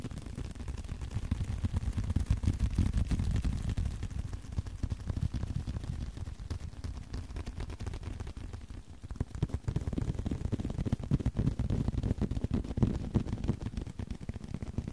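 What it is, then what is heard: Leather card wallet. Fingertips and nails tap and scratch a small, flat blue leather card holder, making a dense, rapid run of soft, muffled taps with a low, thumping body and brushing scratches. The tapping eases briefly around the middle before picking back up at a steady level.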